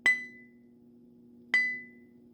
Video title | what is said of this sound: Machinists fix. Diy Lathe Dog build. How to: good enough. (almost) Part 1 of 2 | but if you hear it it rings